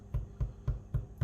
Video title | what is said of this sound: Easy Meals - Bread! | give it a bit of a tap and it's meant to sound hollow it's meant to sound like you're knocking on the door